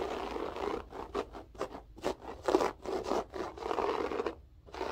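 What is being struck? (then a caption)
Loop-pile floor carpet. Long acrylic nails scratch the textured loop pile of a flat beige loop-pile floor carpet. The result is a series of dry, rasping, scrape-like strokes, each a short burst of broadband hiss centered in the low midrange and reaching up into the highs. The strokes come in quick succession, separated by brief near-silent gaps.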